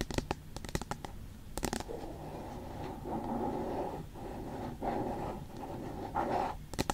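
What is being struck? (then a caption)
Aluminium tablet back. Long pointed nails tap and scratch the flat, smooth aluminium back of a tablet-sized iPad with the Apple logo. A cluster of sharp, quick clicking taps opens the clip, followed by steady raspy scratching strokes with a mid-pitched hiss. The scratching swells and pauses in rhythmic passes before a few final taps at the end.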